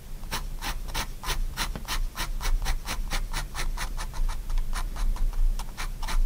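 A pigment liner pen makes many quick, short hatching strokes on a spiral sketchbook sheet, shading the fingers of a drawing. Each stroke is a brief, dry, bright scratch over a steady low rumble.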